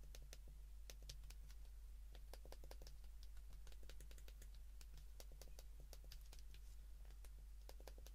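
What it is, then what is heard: Plastic flip phone keypad buttons. A white plastic flip phone is held in the hands while its keypad buttons are pressed repeatedly with the thumb and fingertips. Quiet, quick, bright plastic clicks come in a steady, irregular stream over a constant low hum.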